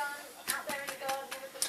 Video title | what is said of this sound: Soda Farls | if it sounds Hollow it should be cooked